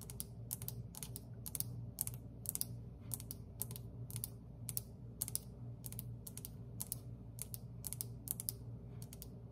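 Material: Glazed terracotta.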